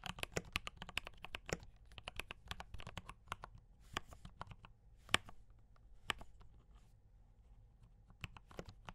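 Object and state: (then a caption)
Mechanical keyboard with plastic keycaps. Fingertips type on a D84 mechanical keyboard with brown switches and cream and red plastic keycaps. Quick, sharp clicky taps with a bright top come in an irregular run, with a few louder strokes standing out. Each keystroke dies almost at once over a low, steady background hum.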